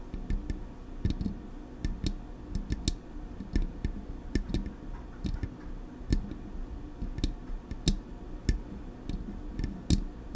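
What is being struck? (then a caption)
Metal microphone body. Long acrylic nails tap the smooth metal body of a silver Blue Yeti microphone held in both hands. Each tap is a sharp, dry click with a brief bright edge over a soft low thud. The clicks come in an irregular run and die away almost instantly, with no ringing tail.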